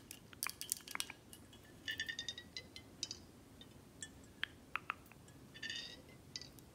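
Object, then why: Glass bottle. A full dark glass Buchanan's whisky bottle is held in hand and tilted while long acrylic nails tap on the glass, the neck and the back label. Quick, bright clicks and taps come in scattered bursts, some with short glassy tones that die away almost at once. The taps sit over a quiet, steady background.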